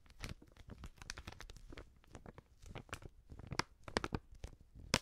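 Long nails scratch and crinkle a filled, medium-sized white plastic Prix Garantie seasoning pouch. The result is a quiet, dense run of short crackling, tearing-like crinkles with bright, crisp edges and a soft low rustle underneath. A few sharper crunches stand out near the end.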